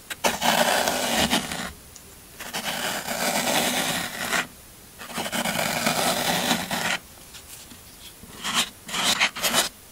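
A small metal blade tool scrapes and digs along the side edge of a solid green floral foam brick held flat by a hand. Three long, bright, crunchy rasping strokes are separated by brief pauses, followed by a burst of shorter, choppier scrapes near the end.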